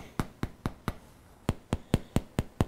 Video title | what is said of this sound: Bread Machine Hamburger Buns | when you tap on them they give you a hollow sound